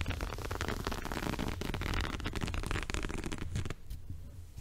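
Fingers scratch and rub the woven surface near the top edge of a multicolored woven fabric rug held in front of the body. It makes a dense, crackling scratch over a low, steady rumble, then softens and thins out for the last second.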